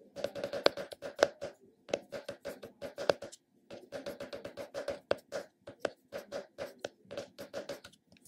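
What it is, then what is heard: Plastic cosmetic jar tapped. A round purple plastic cosmetic container held in the hand is tapped on its recessed top and rim with fingertips and short nails. Quick bursts of light, dry, hollow clicks carry a steady midrange tone with bright nail ticks. Each tap dies away almost at once, with brief pauses between the runs.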